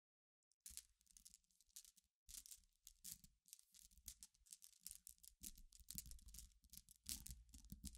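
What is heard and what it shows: Long nails scratch and stir a dense pile of glass gems resting on black fabric. After a brief silence, bright, crisp clicking and rattling pours out in bursts over a soft low rumble, pausing once before building to a busier clatter.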